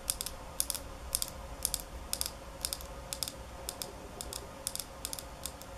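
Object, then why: Small glass bottle. Long nails rapidly tap a small square glass nail polish bottle filled with holographic polish, held in both hands. Quick, sharp, bright clicks arrive in short clusters of two or three taps with brief pauses between them. Each click dies away almost instantly over a faint, steady low hum.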